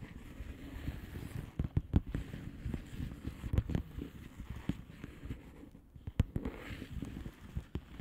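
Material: Plastic.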